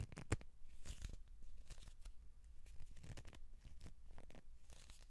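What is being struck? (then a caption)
Cardboard tube. Hands rub and twist along a hollow cardboard tube with one open end, held horizontally. The result is a continuous run of dry, tearing-like scrapes and crinkly rustles with bright, papery edges over a dull, low hollow rumble.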